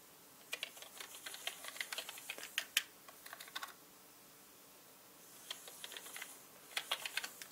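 A small orange-bristled brush sweeps over a black mechanical computer keyboard with hollow plastic keycaps, setting off quick, bright plastic key clicks. The clicks come in a dense flurry over the first few seconds, pause, then resume in a second burst. Each click is short and dry with almost no low end.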